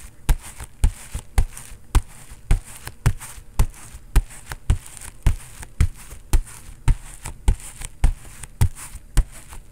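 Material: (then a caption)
Synthetic leather. A bare fist strikes a foam-padded, synthetic leather vinyl boxing focus mitt in fast knocks. Each hit is a dull, deep thud that dies away almost instantly, with a faint high slap on top. Strong blows alternate with softer ones in a steady but slightly uneven rhythm.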